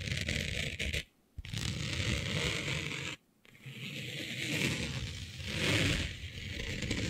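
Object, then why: Smooth synthetic fabric. Long nails scratch across a smooth synthetic fabric with a planet print laid flat, making a steady, bright, raspy scraping with a low rumbling undertone. The scratching stops briefly twice, near 1 and 3 seconds, then resumes and swells louder toward the end.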